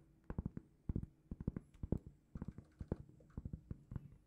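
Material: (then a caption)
Cork. A large, flat, solid round cork trivet, held in both hands, is tapped and scratched rapidly with long painted fingernails. About two dozen quick, dull, low-pitched taps come in uneven bursts, each dying almost instantly, with faint scratching between them.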